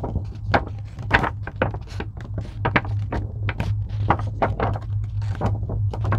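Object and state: Foam craft sheet.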